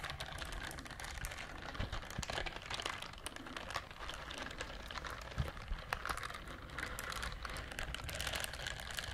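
Long nails scratch the bristle side of a pink silicone scrubber glove, producing a dense, steady stream of quick scratchy clicks and crinkles. The texture stays bright and busy throughout, with a faint low rumble underneath and a few sharper ticks standing out.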